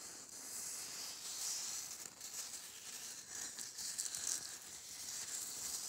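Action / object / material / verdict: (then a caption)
scrape / glitter-coated Christmas bauble / glitter / none. Fingernails rub and scratch the glittery surface of a gold glitter-coated Christmas bauble held in the hands. The result is a steady, dry, crackly rustle that sits almost entirely in the high, bright range, with no low end. It swells a little in the middle and ends with a few slightly louder scrapes.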